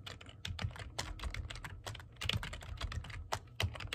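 Both hands type quickly with fingertips and medium-length painted nails on a black plastic computer keyboard with hollow keys. The result is a fast, steady stream of short, bright clacks, each with a soft low thump, that stop almost instantly.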